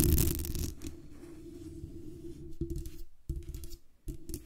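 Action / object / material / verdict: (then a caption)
scrape / metal microphone body and mesh grille / metal / none. Long nails tap the metal base and body of a black USB condenser microphone, then scratch across its hollow metal mesh grille on the top and sides. The sound is close, dense and bass-heavy, with rough, rustling scratches over a low resonant rumble. It opens loudest and briefly cuts out twice near the end.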